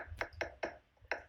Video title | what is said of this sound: Master Class: Step 7, Tips for Inspecting Stucco | it sounds kind of hollow it sounds hollow that's a clue you may have an eiffs system